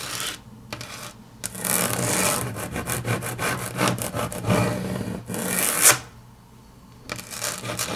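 Long natural fingernails tap and scratch across a large, flat, solid grey wood-grain laminate tabletop. Bursts of dry, bright scratching and rubbing alternate with quick clicking taps, dropping to near silence around six to seven seconds before the scratching resumes.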